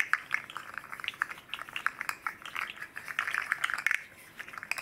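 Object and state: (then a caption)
Articulated plastic fidget slug toy. A hand-sized red and green hard plastic segmented fidget slug with hollow jointed rings is cradled in both palms and rocked and bent, while a second slug rests untouched nearby. Its segments clack together in a rapid, uneven stream of short, dry clicks that are bright and mid-high with almost no low end. Each click dies away almost instantly.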